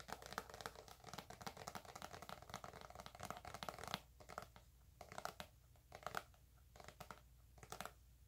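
A hand-sized, squeezable plastic tube of Eczema Therapy moisturizing cream, hollow and apparently filled with cream, is held in both hands and tapped and scratched with long white acrylic nails. For the first four seconds, dense, rapid clicky taps blend with crinkly scratching. After that, the taps come in sparser, bright bursts separated by quiet gaps.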